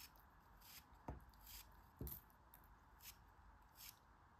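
A utility knife blade slices and scrapes thin, crumbling layers off a small solid cube of beige kinetic sand held in the fingers of a hand with long red nails. Soft, crisp scraping strokes come with bright, hissy bursts, and a couple of them land with a duller, low thud as the layers break away.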